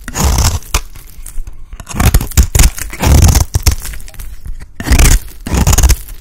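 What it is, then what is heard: Dry bar soap scraped into shavings. A blade scrapes along the edge of a dry, solid green bar of soap, cutting off shavings. The clip is a series of rough, crunchy scraping strokes with heavy low-end thump and a bright, gritty hiss on top.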